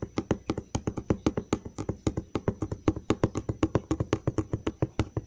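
Fingertips tap rapidly on the flat side of a large, hollow brown cardboard box near its edge. About forty short, dull, hollow knocks come in a steady, slightly uneven stream. Each knock is low and boomy and dies away almost at once.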